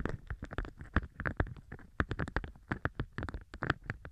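A large, thin, pale-green beeswax-coated cotton food wrap with a honeycomb print is held up in the air by both hands with red polished nails and formed into a stiff open tube. The fingers squeeze and flex the waxed fabric, producing a rapid series of short, dry, crinkly rustles and crackles with low thumpy handling noise underneath.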